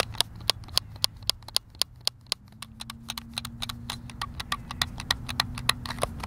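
Fingertips tap the buttons of a white, hand-sized, hollow plastic Xbox controller, producing rapid, irregular clicks. The clicks are sharp, dry and bright, with no ring. A faint low hum sits underneath, and a steady low tone joins partway through.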